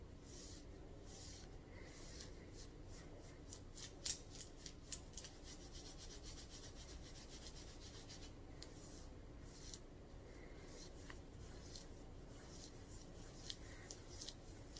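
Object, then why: Ribbed knit cotton shirt. Long purple nails scratch a mustard ribbed knit cotton shirt being worn, across the chest and sides. Steady, soft rubbing and rasping fills the clip, with quick bright scratch strokes and a few sharper clicks over a low rumble.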